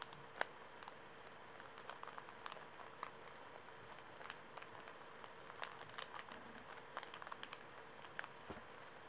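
A small, soft Kleenex pocket tissue pack, wrapped in thin plastic film and full of paper tissues, is held in both hands while fingertips and nails squeeze, scratch and crinkle the wrapper. Quiet, dry crackles and sharp crinkly ticks come in scattered bursts over a faint steady hum. Each snap dies away almost instantly.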